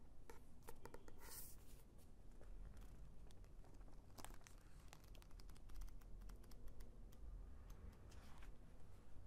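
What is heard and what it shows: A paperback novel with a glossy card cover is tapped and scratched with long nails, then opened and its paper pages handled. Quiet, dense clicks, taps and crinkling rustles run throughout over a low, steady rumble, with brief bright scratching bursts near the start and in the middle.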